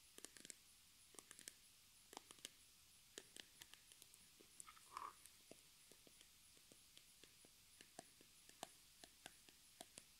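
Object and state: Plastic cream tube, tapped and scratched.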